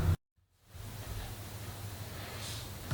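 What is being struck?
Nothing is struck.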